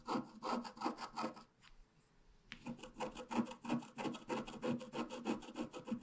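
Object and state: Scratch-art card being scratched.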